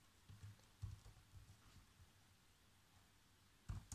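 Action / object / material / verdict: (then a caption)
tap / plastic laptop keyboard keys / plastic / none. Fingertips with short nails type fast across the keys of a black plastic chiclet laptop keyboard. The taps are soft, dull and low-pitched, with a sharper burst of louder taps near the end.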